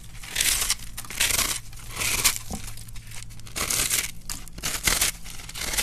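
A metal knife blade, guided by a hand with dark-painted nails, scrapes and carves into a large, solid, pink-and-white block of dry, crumbly starch soap. Bright, dry crunching and crackling scrapes come in repeated swelling bursts. Crunchy flakes shed onto a dark surface.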